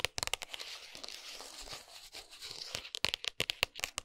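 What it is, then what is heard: Cardboard chocolate box. Long nails tap and scratch the printed front of a flat gold and brown cardboard dark chocolate box, closed with the bar inside and resting on a towel. Quick bursts of sharp, bright, dry taps open and close the clip, with a steady papery scratching in between. The sound is quiet and high-pitched, with almost no low end and no ring after each tap.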